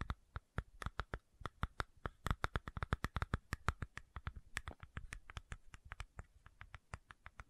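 Long nails rapidly scratch and tap the screw cap of a medium white plastic fish oil supplement bottle held close to the mic. About forty-four quick, dry clicks and ticks follow one another in an uneven rhythm, each with a soft low thump, a bright tip and no ring.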